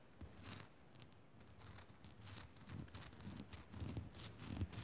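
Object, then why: Rock-salt crystal lamp. Long nails scratch and tap quickly over a small, solid pink Himalayan rock-salt crystal lamp. The result is a quiet, irregular run of bright, gritty scraping bursts over soft low thumps, the brief taps dying away almost instantly.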